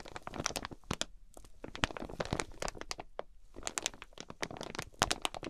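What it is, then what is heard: Plastic-wrapped quilted fabric package. Long nails on both hands scratch and tap the crinkly clear plastic wrap around a flat, quilted fabric package. The result is a dense run of sharp crackles, crinkles and quick taps with a bright edge. Each sound dies away almost instantly.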